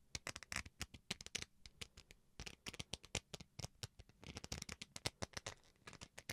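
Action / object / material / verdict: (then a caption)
scrape / plastic rice paddle / plastic / none. Fingernails scratch the textured surface of a small, solid white plastic rice paddle held in the hand. They make a rapid, uneven run of dozens of short, dry, crisp scratches that are bright and hissy, with no ringing between strokes.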